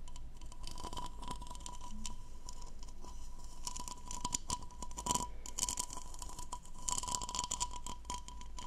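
Long nails scratch the diamond-textured bowl of a hollow, empty blue plastic goblet held in both hands. The result is a steady, dense scraping and scratching with bright, crackly clicks that briefly swell louder around the middle and near the end. A faint steady tone runs underneath throughout.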